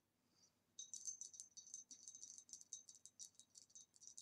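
A green retro glass vase is tapped in a rapid, continuous run of light, bright clinks. Each tap gives a short, high glassy ring that fades almost at once. After a faint touch near the start, the taps come quickly and steadily to the end at a quiet level.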